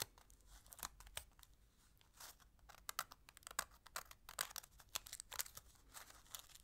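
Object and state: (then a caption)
Aluminium foil candy wrapper being crinkled. A small, thin, empty orange patterned aluminium foil wrapper from a chocolate egg is held between fingertips with long nails and folded and crinkled. The result is a quiet, continuous run of irregular, crisp crackles and sharp snaps that are mostly high and bright, with almost no low end and no ringing after each crackle.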